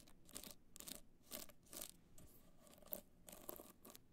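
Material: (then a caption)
Rhinestones. Long nails scratch the studded surface of a hollow black hard-shell clutch covered in multicolor rhinestones, held in the hand. A quiet run of dry, bright, crunchy scratching bursts follows in a loose, uneven rhythm, each stroke stopping short with no ring.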